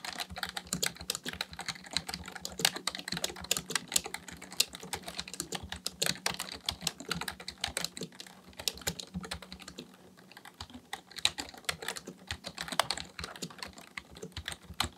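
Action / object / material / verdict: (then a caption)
tap / plastic computer keyboard / plastic / none. Both hands type steadily with their fingertips on a black plastic full-size computer keyboard resting on a desk. The result is a dense stream of short, bright plastic key clicks with a brief lull around the ten-second mark before the typing picks back up.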